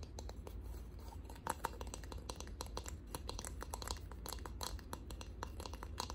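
Fingernails tap rapidly and unevenly on a wooden box, producing a steady stream of dry, sharp clicks with a hollow knock near 900 Hz that stop almost instantly. A low, constant hum sits beneath the quiet, close tapping throughout.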